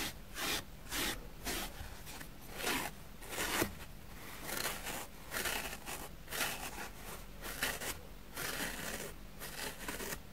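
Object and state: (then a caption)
Dusty foam sponge being brushed. A plastic spoolie brush scratches back and forth across a grey, powdery foam sponge block. Repeated short, dry, bristly scraping strokes rise and fall in a steady rhythm. A faint low hum sits underneath throughout.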